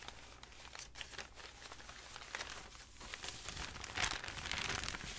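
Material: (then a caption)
Paper. Hands fan through a stack of aged, crinkled, yellowed paper sheets, then hold up a single large sheet and crinkle it while fingertips with dark nails rub and rustle the paper. A steady, bright, dry crinkling and rustling runs throughout, growing louder and denser toward the end with a sharp crackle around the four-second mark.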